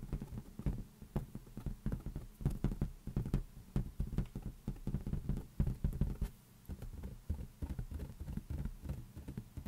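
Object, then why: Inflated latex balloon. An inflated, hollow lime-green latex balloon rests on one palm while the fingers of the other hand tap quickly on its underside. The taps make a steady run of soft, dull, low thumps, each dying away almost at once with almost no brightness.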